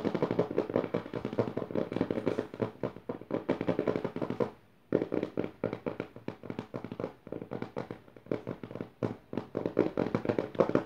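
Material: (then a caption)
Paper. Long nails tap and scratch fast on the lower left page of an open notebook with dotted paper pages. The result is a dense run of quick, dry papery taps and scrapes centered in the mids, with a brief pause just before the five-second mark before the rapid tapping resumes.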